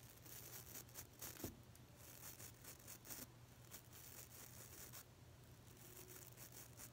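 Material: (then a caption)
Nylon. The stiff white nylon bristles of a small pink plastic nail brush are scratched and flicked with a fingernail, giving quick, bright, crackly bursts of scratching and rustling. A steady low hum runs underneath throughout.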